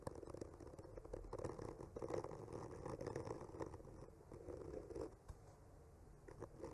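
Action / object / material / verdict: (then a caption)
scrape / painted wooden panel scraped with a bamboo skewer / wood / none. A hand traces and scratches a bamboo skewer, with a microphone attached, slowly across a solid wood panel painted with trunks. The result is a quiet, continuous dry scraping and faint crinkly rasp centered in the low midrange, rising and falling gently with the strokes.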